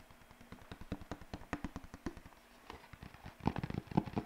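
A single white paper sheet, held up by one corner and bent into a curve, is flapped with the fingers. It gives a fast, irregular run of short, dry papery snaps and flutters with no ring. The sound stays low-weighted and grows louder and denser toward the end.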